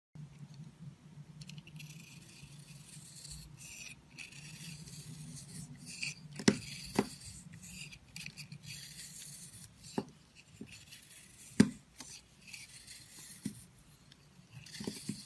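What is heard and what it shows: A hand-sized solid purple soap bar with a dried, speckled crust, held in a hand with long white nails, is scraped and carved by a metal blade with a red handle, shaving off crumbly flakes. A soft, bright, continuous scraping hiss runs throughout, broken by a few sharp, short clicks as chunks break away. Crumbly flakes fall from the bar.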